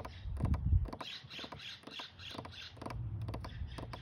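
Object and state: Weathered wooden bench plank.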